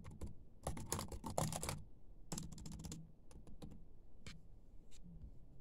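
Fingertips and short nails of one hand type and tap fast on a laptop keyboard with black plastic keys. Bursts of quick, dry clicks with bright edges come in clusters and short pauses, over a steady low hum.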